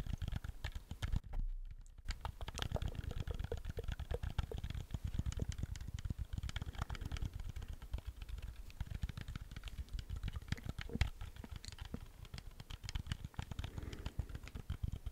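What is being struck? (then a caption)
Plastic game controller. A black plastic PS4 DualShock 4 controller with custom white and red buttons and a hollow plastic shell is held in both hands close to the microphone while fingertips press and tap its buttons. A steady stream of rapid, soft clicks and muted plastic taps continues throughout, with a brief pause near the start. The clicks are mostly low and thumpy, with little bright content.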